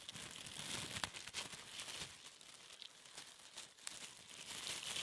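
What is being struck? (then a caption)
Thin plastic cling film. A piece of thin, clear plastic cling film is crinkled and squeezed between the fingertips. It makes a quiet, continuous, bright crackling with sharp little snaps and almost no low end. The crinkles swell and fade over the five seconds.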